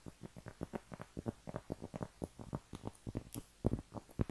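A round, flat cork trivet, a thin solid disc held in both hands, is scratched with long painted nails. The result is a quick, uneven run of short, dry, dull scratching strokes, each fading almost at once and sitting mostly low with little high brightness.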